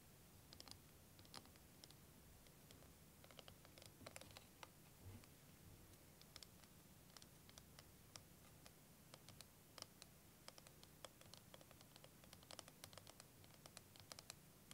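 A clear, curved plastic liquid timer with green and blue liquid droplets is held in both hands and tapped and scratched with fingernails. Quick, bright, dry clicks and ticks come in irregular bursts over a steady low background hum, each one dying away almost instantly.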